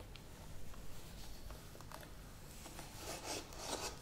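Long nails tap and scratch the sides and rim of a medium plastic yogurt tub with a lid. Soft, hollow ticks and dry rasping scrapes sit over a low, steady rumble. The scratching grows louder and brighter toward the end.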